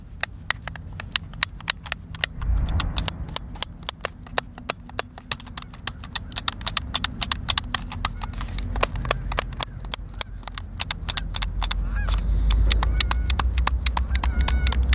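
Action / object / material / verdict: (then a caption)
tap / plastic game controller / plastic / none. Fingertips and thumbs press and click the buttons of a white, hand-sized, hollow plastic Xbox controller held in both hands. A rapid, uneven run of sharp, bright plastic clicks continues throughout over a low background rumble that grows louder toward the end.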